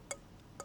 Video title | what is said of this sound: Antiques Road Trip 2025 🌞 Mindfully Moving in Merseyside Series 29 Episode 2 (Tue Nov 05, 2024) | see there's not even a crack in this but it's just quite a brittle porcelain